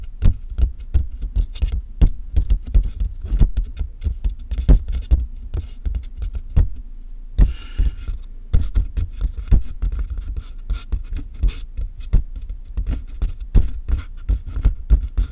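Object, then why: Cardboard box. Both hands tap fast with long nails on the taped top of a large, hollow cardboard box. The result is a rapid, uneven patter of dull, boomy low thuds that die away almost instantly. Around the middle the tapping briefly gives way to a bright, scratchy rustle.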